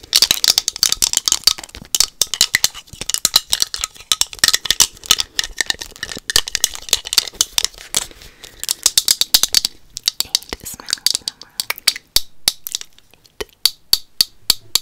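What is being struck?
Liquid-filled plastic Magic 8 Ball.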